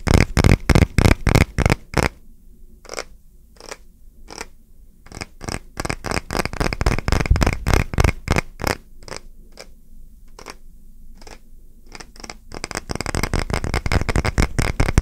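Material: Wood.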